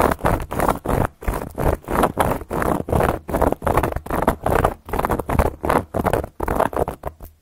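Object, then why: Round flat cork coaster scratched with metal nail covers. Long gold metal claw nail covers on the fingertips scratch and trace across a round, flat, solid cork board coaster. The result is a steady run of short, dull, raspy strokes that swell and fade in irregular quick bursts, with the sound weighted low and soft and little high brightness.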